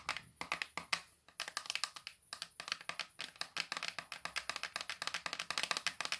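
Long nails fitted with metal paperclips tap rapidly on the hard cover and spine of a thick Larousse dictionary with a solid paper block. About forty quick, dry, bright clicks come in uneven bursts, each stopping at once with no ring.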